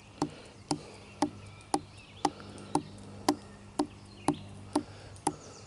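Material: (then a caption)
Wood. Fingertips tap and scratch along the rough bark of a thick, solid, dead-looking wooden branch outdoors in the woods. Eleven short, dry taps land at a steady pace, each a crisp knock with a woody mid-range body and a quick bright edge that dies away almost at once over a faint, quiet background.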